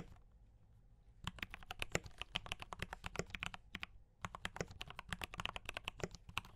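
Fast fingertip typing on a mechanical keyboard with cream and red plastic keycaps and brown switches. Sharp, bright clacks come in quick bursts with brief pauses, over a faint low hum.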